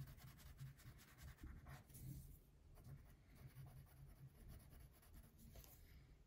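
A pink wax crayon held in the fingertips colors a thin printed paper coloring sheet lying flat on a wooden table. Continuous soft rubbing and scratching strokes sweep across the paper, quiet and mostly low in tone with faint brighter scratchy streaks.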